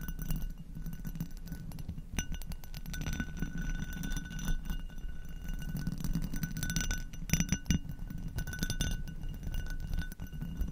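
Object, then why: Textured glass goblet. An inverted, hollow and empty amber hobnail glass goblet is tapped and scratched with long acrylic nails across its textured bowl. Rapid, dense clicks and clinks come with scratchy rasping, while faint bright glassy tones ring briefly over a steady low rumble.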